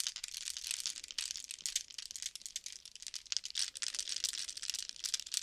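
A small clear glass jar, partly full of dried green leaves or herbs, is held in the hands while fingertips and nails tap and scratch it and shake it. The dry contents rustle and crinkle in quick, irregular bursts of bright, high-pitched crackle with almost no low end. The sound stays quiet and close, and each tick dies away instantly.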